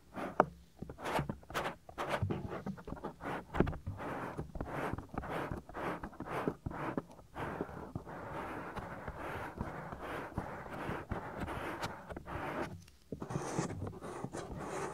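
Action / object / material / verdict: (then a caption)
scrape / silicone microphone ear / silicone / none. Fingertips rub and press the soft, solid silicone ear flap of a 3Dio binaural microphone, making close, muffled rubbing and scraping bursts with low thumps. Midway the rubbing becomes a steadier, continuous brushing before the short, choppy strokes return.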